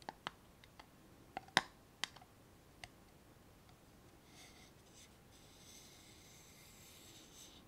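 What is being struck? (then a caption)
Small glass jar with metal screw lid. A small hollow clear glass jar with a metal screw lid, filled with orbeez water beads, is turned in the hands while fingernails tap and rub its glass sides. Several sharp, bright taps with a glassy ring come in the first three seconds, followed by soft, hissy rubbing and shifting sounds.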